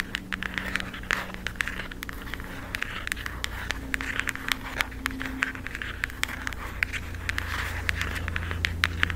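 A floral cardboard eyeshadow palette, held in both hands, is scratched and tapped with long nails. Quick, crisp clicks and dry scratching rasps repeat rapidly over a steady low hum.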